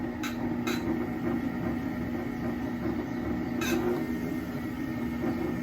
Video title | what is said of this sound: Making a mug on a potter's Wheel - for beginners | the more hollow it is sounding you'll start to get used to that sound the closer you are